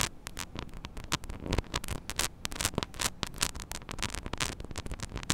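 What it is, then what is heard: Metal microphone grille scratched with nails. Long nails scratch across a small, hollow metal mesh microphone grille, making a rapid run of dry, bright scraping bursts that reach up into the highs. A steady low hum sits underneath, and each scratch stops short with almost no ring.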